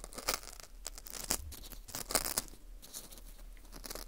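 Metal tweezers pick and scrape at the crumbly inside of a dry, porous dried wheat gluten ring (fu) held in a gloved hand. The result is quiet, bright, crackly scratching and tearing with a few sharper crunchy snaps.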